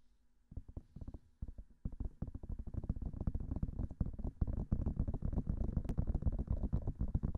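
Long manicured fingernails of both hands quickly tap both hollow white silicone ear-shaped pieces of a 3Dio-style binaural microphone. After a near-silent start, the taps come as quick, dull, low thumps with almost no ring. They grow into a dense, uneven patter that stays heavy in the low end.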